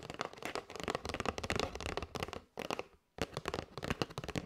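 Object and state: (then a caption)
Cardboard box of paper straws. Long white nails tap rapidly on the edges and front of a kraft cardboard box full of paper straws held in the hands. The taps are dry, clicky and papery across low to bright tones, with a brief pause before the tapping resumes.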